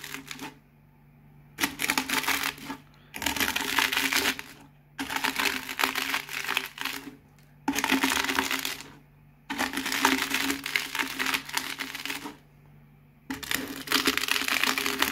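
A cardboard Pringles can rolled by hand over a large spread of small, crisp potato chip fragments on a white table crushes them into dense, bright crackling and crunching. The crackling comes in several rolling passes, each a few seconds long, separated by short quiet pauses, over a faint steady low hum.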